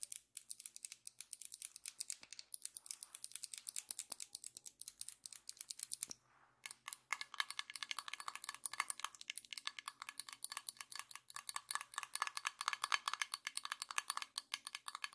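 Long acrylic nails tap rapidly on the glass side of a medium glass jar partly filled with honey, making a dense run of sharp, bright clicks. After a brief pause, the nails tap and scratch the jar's screw-on metal lid, giving a brighter, more continuous stream of clicks and scraping. There is almost no low end and no ring after each tap.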